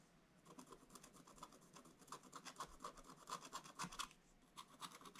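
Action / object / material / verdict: scrape / coated scratch-art paper scratched with a wooden stylus / coated paper / none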